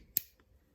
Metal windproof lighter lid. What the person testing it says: it definitely snaps shut